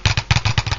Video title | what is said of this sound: Speaker Voice Coil Rub - Lab Series L7 | when you tap the cone you get one heck of a rattling sound out of it